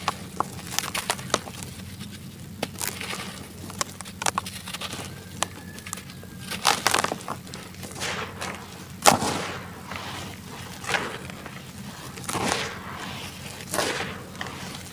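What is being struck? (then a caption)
Sand-cement clumps. A dry sand-cement clump in a white plastic basin is crushed between bare fingers and crumbled into dust, which is then sifted through the hands. Many sharp, bright crackles and gritty crunches snap out over a faint, steady low hum, with louder bursts of grinding as the clump breaks apart.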